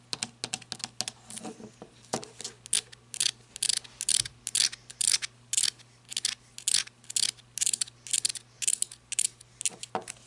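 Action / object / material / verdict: tap / rubber-gripped flashlight / rubber, plastic / none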